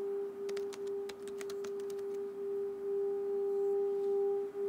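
A small, hollow, empty hammered brass singing bowl resting on an open palm has its rim rubbed around with a wooden, leather-wrapped mallet. It gives a steady, sustained tone around 406 Hz with a fainter overtone near 800 Hz. Brief bright clicks and scrapes from the mallet appear mostly in the first two seconds as the drone swells slightly.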